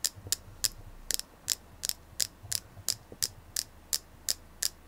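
A palm-sized, solid white, flower-shaped selenite carving held in both hands is tapped with long nails. Fourteen short, bright clicking taps come at an uneven pace, each dying away almost at once. A faint low hum sits underneath.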